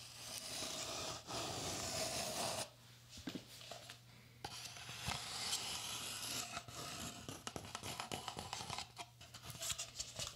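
Fingertips rub and scratch a hollow red cylindrical Pringles chip can, a cardboard composite tube with a metal base, held in the hands close to a binaural dummy-head microphone. A bright, dry scraping and rustling hiss carries steadily for a few seconds, drops to a quieter stretch of softer scratching, then returns as a series of irregular, crisp scratches.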